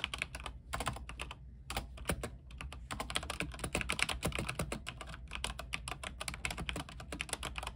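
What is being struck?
Mechanical keyboard, plastic keycaps.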